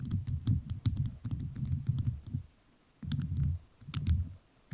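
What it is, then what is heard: Rhinestone-covered microphone tapped with nails. A microphone fully covered in rhinestones is tapped with fingertips whose nails are also covered in rhinestones. The rapid, crisp, clicky taps have a deep, thumpy low body and bright sparkling clicks on top. They come in bursts separated by short quiet pauses.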